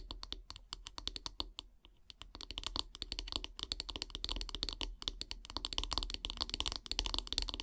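Long grey nails tap quickly along the solid wooden handle of a bristle brush. The result is a rapid run of short, dry, bright clicks with almost no ring, over a faint low hum. The tapping thins out briefly near the two-second mark, then returns denser and slightly louder for the rest of the clip.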